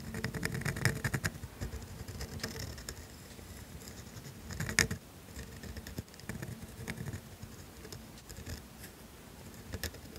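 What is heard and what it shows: A pointed steel dip pen nib scratches continuous ink strokes across a thin sheet of grid paper, writing cursive letters. Soft, dry scratching and brief ticks run throughout, with a louder, brighter scrape near the middle, over a steady low rumble.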